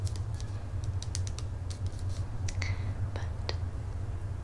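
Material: Plastic.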